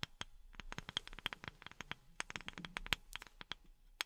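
A wooden object is tapped quickly with silicone rubber pads worn on the fingertips. The result is a rapid, uneven series of dry, bright clicks with almost no ring, some carrying a faint tone near 3.2 kHz, over a quiet background.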